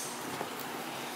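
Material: Nothing is struck.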